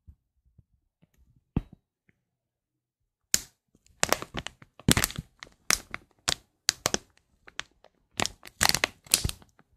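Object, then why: Thin plastic foil bag. An empty, thin, transparent, shiny plastic foil bag is held up in both hands and crinkled and rubbed with the fingertips close to a microphone. After a quiet start with a single sharp crackle, dense bursts of bright, crisp crinkling and crackling follow one after another, each stopping dead with no ring.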